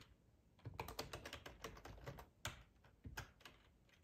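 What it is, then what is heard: Plastic computer keyboard being typed on. Fingertips of both hands type on a full-size black plastic ergonomic split keyboard resting on a cloth tablecloth. Quick, soft clacking key taps come in irregular bursts, each short and dry with a slightly bright click over a low thud, separated by quiet pauses.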